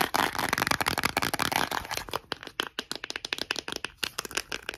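A white, hand-sized, hollow plastic Johnson's baby powder bottle with a cap is tapped and scratched with short nails and fingertips. It opens with about two seconds of dense, bright scratching and rapid tapping, then shifts to quicker, separate, dry clicky taps with almost no ring.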